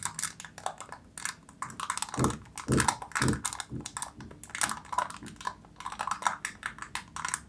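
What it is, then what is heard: Foil seal on plastic jar tapped. Long nails tap rapidly on a silver foil seal stretched over the mouth of a plastic jar. The taps are quick, irregular, crisp and bright, with a faint crinkle, and a few heavier, deeper thumps land near the middle. Each tap dies away almost instantly.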